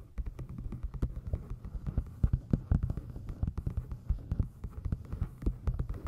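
Long nails tap the cover and corners of a solid navy moth-print hardcover book resting on the microphone. The result is a rapid, irregular run of soft, muffled low thumps, each dying away almost at once, over a steady low hum.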